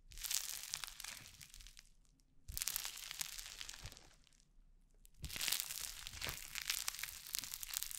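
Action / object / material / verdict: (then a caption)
scrape / foam-bead slime / foam beads / none. Orange crunchy foam-bead slime (floam) is stretched wide, pulled apart and squeezed in cupped hands beside the mic. It gives three bursts of dense, bright crackling and popping, separated by short quiet gaps, with the last burst the longest.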